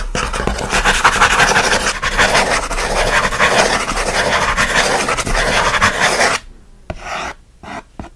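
Fingernails scratch quickly and roughly across the top and front of a closed kraft cardboard mailer box, likely empty or light, resting on a blanket. A dense, rasping scratch runs steadily for about six seconds, then breaks into a few quieter, short scrapes separated by near-silence.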